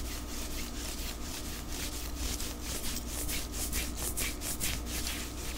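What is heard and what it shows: Fingernails scratch and rub the sleeve and shoulder of a white knit cotton long-sleeve top worn on the body, with a watch on the wrist. Bright, airy scratching strokes repeat at an uneven rhythm of about two per second over a steady low hum.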